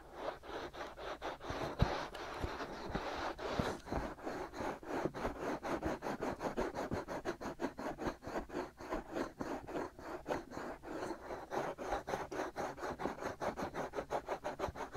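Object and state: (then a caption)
Fingernails scratching silicone microphone ears. Short fingernails scratch the white silicone ears of a black binaural microphone, producing close, dry scratching that starts as a continuous rub and settles into a rapid, steady rhythm of separate strokes. The strokes are mostly midrange with little brightness, over a faint low hum.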